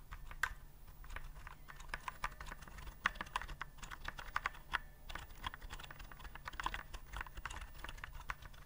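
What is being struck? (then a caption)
Plastic typewriter-style keyboard. Fingertips type steadily on a white plastic typewriter-style keyboard with round keycaps, held upright. Quick, dry clicks and clacks fall in an uneven rhythm, with sharper taps standing out now and then over a low, steady background rumble.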